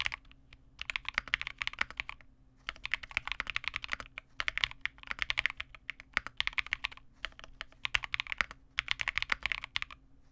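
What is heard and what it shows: A small 65% Vega65 mechanical keyboard with re-lubed Cobalt switches, white plastic keycaps and a dark case is typed on continuously with the fingertips of both hands. Bursts of quick, bright, dry plastic clacks run in rapid flurries, separated by brief pauses, over a faint low hum.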